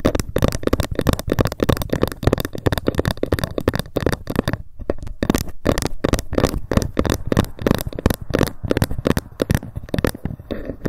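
A ruler is tapped rapidly with long fingernails, with occasional scratching. Dozens of quick, dry, low-pitched taps run in a steady stream with almost no ring, easing briefly near the middle before picking back up.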